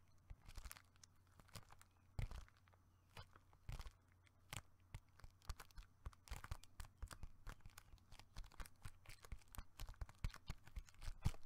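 A hollow gold foil-laminated plastic bubble mailer envelope, held up in both hands, is crinkled, squeezed and scratched with fingertips and nails. Dense crinkling and crackling come through as many short, sharp, dry bursts over a quiet, steady low hum. The bursts grow busier and slightly louder toward the end.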